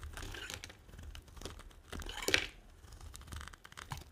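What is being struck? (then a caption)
Soap bar scraped by a metal blade. A small metal blade scrapes and carves thin flakes off the surface of a solid, dry, hand-sized white soap bar held in one hand, and the flakes pile up behind it. Dry, bright scratching and shaving strokes repeat throughout, with the loudest, sharpest scrape at about 2.3 seconds.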